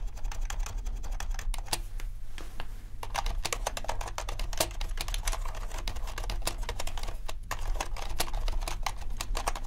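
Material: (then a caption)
Plastic. Fingertips type steadily on the black and white plastic keycaps of a compact mechanical keyboard, producing a fast, continuous stream of sharp, short clicks and clacks that die away almost instantly. A steady low hum sits underneath the typing throughout.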